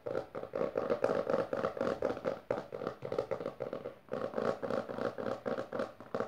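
Both hands with long dark nails rapidly tap and scratch the textured maroon cover of a closed, solid hardcover book resting on purple fabric. The result is a fast, uneven patter of dry, mid-pitched taps with scratchy rasps, broken by a brief pause near the four-second mark.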